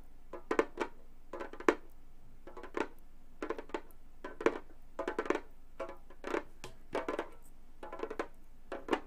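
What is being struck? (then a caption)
Frame drum with synthetic skin head tapped with metal finger caps. A Remo frame drum about 30 cm across, with a thin synthetic Fiberskyn-style head over a hollow frame, lies flat while both hands tap and drum on it wearing long gold metal claw finger caps. Quick clusters of short, dry taps sound with a mid-pitched thud and a faint bright click from the metal tips. Each tap dies away almost at once, with quiet gaps between the bursts.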